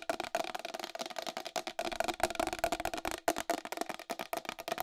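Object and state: Plastic wall clock tapped with nails.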